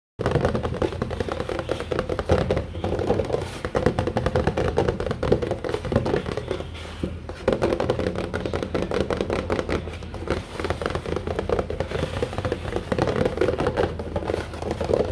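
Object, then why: Cardboard cereal box. Fingertips and nails tap and scratch across the front panel of a large, flat, hollow printed cardboard Kellogg's Special K cereal box. The result is a steady, dense run of quick, short, hollow taps and dry scratching, with a muffled low body and a midrange tone around 470 Hz that continues throughout.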